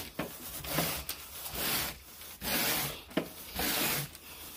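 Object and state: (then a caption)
Grey pile carpet being raked. A carpet groomer rake with a wooden handle and a teal plastic head is scraped in raking strokes through wall-to-wall grey pile carpet on a bedroom floor. Each stroke makes a bright, hissing, raspy scratch that swells and fades, with small sharp clicks between strokes.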